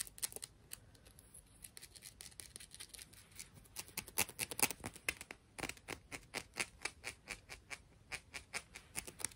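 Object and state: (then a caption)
Small clam shell. A tiny clam shell is tapped and scratched, giving a rapid, uneven series of short, bright clicks and scrapes. The sound is mostly high-pitched, with almost no low end, and each tap dies away almost instantly.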